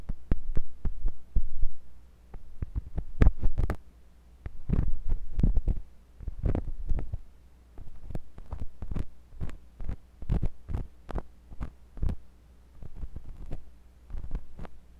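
A thin metal pointed sculpting tool with a wooden handle, held by fingers with long pink nails, scratches and pokes inside the canal of a white silicone ear on a block-shaped binaural microphone. The close contact comes through as deep, muffled thumps and pressure bursts with quick clicky crackles, over a steady low hum.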